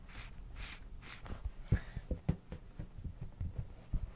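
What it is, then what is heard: Silicone cat night light. Fingertips and nails tap and scratch the surface of a small, soft, hollow silicone cat-shaped night light with a lamp inside, held in both hands close to the mic. Soft, bright scratching swishes come first, then about six dull, low, muffled taps that stop almost instantly, over a quiet background.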